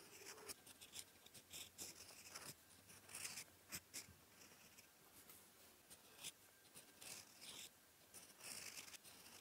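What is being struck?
Steel fountain pen nib on lined paper.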